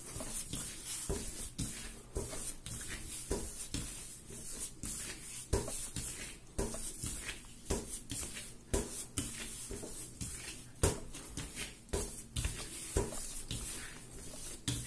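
Bare palms and fingers press, lift and knead a large, soft yellow ball of raisin bread dough on a marble-pattern counter. About nineteen soft, wet squishes and presses come at an uneven pace over a low, steady hum, each with a brief bright smack that fades quickly.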